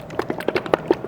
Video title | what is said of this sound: 세차용품추천! - 불스원 유막제거제, 발수코팅제 꼭 쓰세요! 효과 정말 대박입니다! | Can you hear that sound, like something sloshing around?